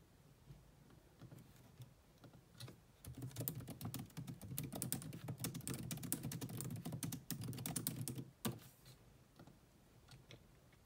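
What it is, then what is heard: Plastic laptop keyboard being typed on. Long nails and fingertips type on a grey laptop keyboard with black plastic keys, producing quick, dry plastic taps with a bright click edge and a low thud. A few scattered taps open the clip, then a dense, fast run of typing follows, ending with a sharper, louder tap before the typing thins out to occasional light taps.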